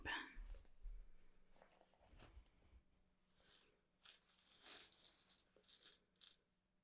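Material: Stone.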